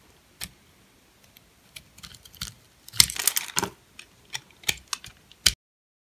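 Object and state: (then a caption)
Dry, hard bar soap being shaved. A metal blade shaves and scrapes thin flakes off a purple, hand-sized, solid, dry bar of soap with a bubble pattern, held in the palm. Short, crisp, bright scraping clicks come at irregular intervals, with a denser crackling burst in the middle. Each sound cuts off almost instantly, with no ring.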